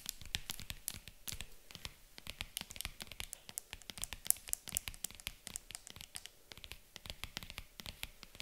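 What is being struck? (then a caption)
Faux leather jewelry case. Long nails tap and scratch the top of a hollow, white zippered faux leather jewelry case resting on a table. Quick, dry clicks come in a steady, busy stream, with bright, crisp scratching between them and a soft, low thump under some taps. Each sound stops instantly with no ring.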